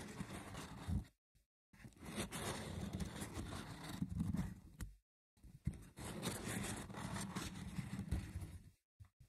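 Short nails scratch the woven side walls of a small, hollow, rectangular wicker box with a lid, held by hands at its sides. Three stretches of dense, rough, crackling scratching are separated by brief silences, with a hollow low body under a thin bright rasp.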